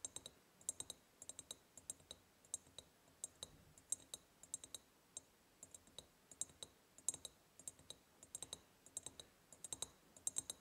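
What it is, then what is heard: Ribbed glass jar tapped with nails. Long painted nails tap quickly on the sides of a large, empty, hollow ribbed glass jar. The result is a fast, irregular series of crisp, bright clicks that die away almost instantly, with a soft low rumble underneath.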